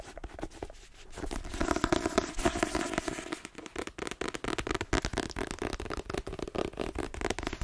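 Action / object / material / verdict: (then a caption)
tap / paperback book, paper block with glossy card cover / paper / none. A paperback novel, "The Twins," with a dark glossy cover and a solid paper block, is held in the hands and tapped quickly with fingertips and nails. The taps are rapid, dry and crackly, with a dull mid-toned body and no ring. A denser, rustling stretch early on gives way to fast, evenly spaced tapping.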